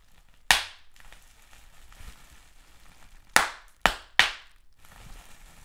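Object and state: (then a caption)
Large-bubble plastic bubble wrap being popped. Fingers pinch and pop single bubbles on clear plastic bubble wrap with large air bubbles. Four sharp, bright snaps ring out: one early, then a quick cluster of three near the end, each fading fast over a faint crinkly background.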